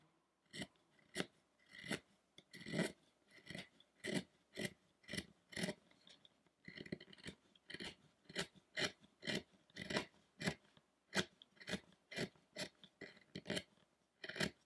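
A small carving tool scrapes short cuts into the hair and beard details of a solid carved wooden Buddha statue head on a round base. Each stroke is a brief, dry rasp with a bright, gritty edge, repeated in a steady rhythm with short quiet gaps between cuts.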